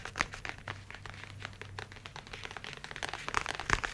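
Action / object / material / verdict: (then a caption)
tap / leather tablet folio case / leather / none. A grey-brown leather tablet folio case, held close, is tapped quickly with the fingertips and nails. The result is a quiet, steady stream of soft, dull pats mixed with sharper, bright clicks, over a faint low hum, growing louder and crisper toward the end.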